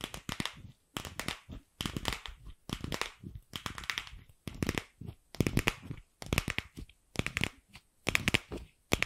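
A single light pink, palm-sized hollow plastic ball is held in the hand and tapped and scratched with long pink acrylic nails. Quick, dry clicking taps and crackly scratching come in short bursts separated by brief pauses. The sound is bright with a hollow, thin body.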